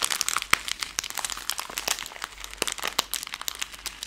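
A plastic-film Skittles candy bag is crumpled, then opened and flexed close up to make it crinkle. The result is a dense run of bright, sharp crackles and crinkles with almost no low end, each snap dying away instantly.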